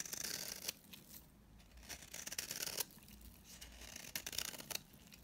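A utility knife blade scrapes along the face and edge of a solid, dry pink bar of soap held in the hand, shaving off dry powdery curls. The result is bright, papery scraping and rasping in a few separate bursts, with quieter gaps in between and almost no low end.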